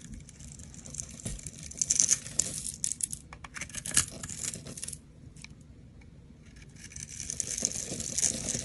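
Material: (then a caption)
Glycerin soap. A utility knife blade scrapes and shaves crunchy flakes off a solid, translucent oval bar of green glycerin soap held in a hand with long purple nails. Dense, bright crackling and scraping comes in bursts, peaking sharply around two and four seconds. It dips to a faint hiss for a moment, then builds back into steady crunchy shaving.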